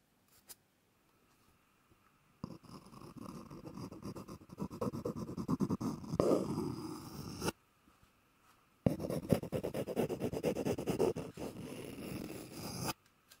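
An empty, hollow, hand-sized white cardboard roll is held in one hand while the other hand's fingertips or nails tap and scratch its surface. Two long bursts of dense, rapid, dry scratching and tapping are heard, with a short pause between them. The sound is soft and mostly low-to-mid in pitch, with faint hollow resonance and little high-end brightness.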